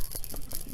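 A bottle of Silver Silk paint is shaken so the little metal mixing ball inside rattles, stirring the silver that has settled at the bottom back into the color. A quick run of short, dull, low rattling clicks is heard, with no ring between them.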